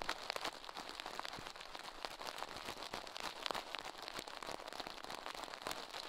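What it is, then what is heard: Silicone ear scrubbed with toothbrush bristles. Toothbrush bristles scrub the soft silicone left ear of a binaural microphone set on a metal mic plate, while the other gloved hand stays still. A dense, steady hiss of quick, crackling scratches fills the clip, bright and airy with almost no low end.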